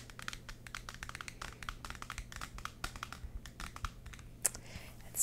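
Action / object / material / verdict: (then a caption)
tap / paperback book with glossy paper cover / paper / none. Long yellow acrylic nails tap and scratch the front and back glossy paper covers of a solid 'Mirror Moon' paperback manga graphic novel held up in the air. A quick, steady run of dry, bright clicks and crinkly scrapes plays softly over a low, constant hum, with a sharper tap and a rising swell near the end.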